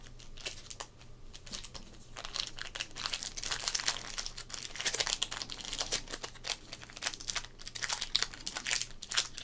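Fingertips press, rub and flex a small sealed green foil O-Pee-Chee Premier sports card pack wrapper, lying flat and holding cards, on a dark wooden table. The result is a steady run of bright, crisp crinkling with dense, quick snaps and rustles that rise and fall in bursts. A faint low hum sits underneath throughout.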